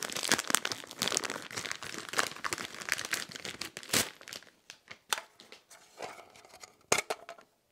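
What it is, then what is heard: Polymer pistol magazine. Fingernails and fingertips scratch and tap along the ribbed body of a single hand-sized, hollow black polymer pistol magazine held in one hand. The first half is a dense, crinkly scratching with bright high-frequency texture. It then thins out into sparser, sharp dry taps with no ring.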